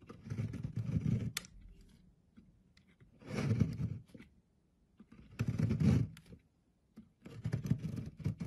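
A thin blade scrapes along a solid, oval, pale green bar of soap held in the fingers on a wooden board, shaving thin flakes off its surface. Four separate passes of dry, rasping scraping are heard, each about a second long with short pauses between them. The sound is mostly low and dull, with brief brighter ticks.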